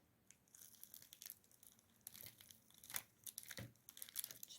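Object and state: Crispy baked börek crust.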